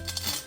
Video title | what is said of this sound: Best Crispy Pork Belly - Quick and Easy! | you can scrape your knife and you can hear how crispy it is